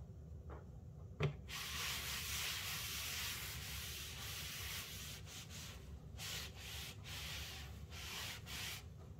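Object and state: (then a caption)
Wooden butcher block cutting board being scrubbed. A hand scrubs a large, flat, solid hardwood butcher block cutting board made of glued strips, lying on a granite countertop, with a yellow sponge. A brief knock comes first, followed by a steady, bright, hissing rub. Toward the end, the rub breaks into distinct back-and-forth sponge strokes over a low rumble.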